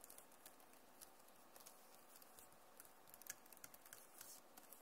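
Long nails tap and type on the plastic keys of a backlit Acer laptop keyboard, making a quiet, irregular run of short, bright clicks. Each click is dry and dies away almost at once over a low, steady hiss.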